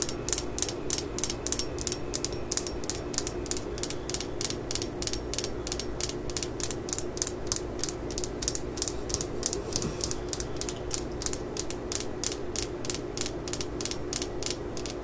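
Long acrylic nails tap and scratch the claw and head of a worn solid steel claw hammer lying on a mat. A steady run of rapid, sharp, bright clicks with very short ring sits over a low, soft rumble for the whole clip.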